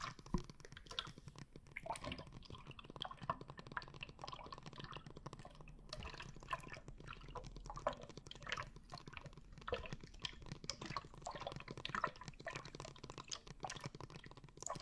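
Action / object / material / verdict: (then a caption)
shake / bottle filled with liquid and glitter / liquid / none. A dark blue bottle filled with liquid and glitter is held horizontally in both hands and tilted or shaken, so the liquid sloshes back and forth inside. Soft, continuous gurgles and drip-like splashes come with many small clicks and patters, and the sound stays quiet and steady throughout.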